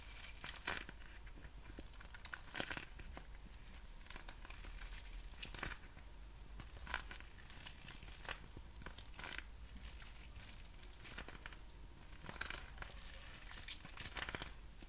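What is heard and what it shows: A small, clear, crinkly plastic packaging pouch of thin, hollow film with printed text is held up in one hand and squeezed and crinkled with fingertips and nails. The result is a steady run of sharp, bright crackles and crinkles over a low background hum.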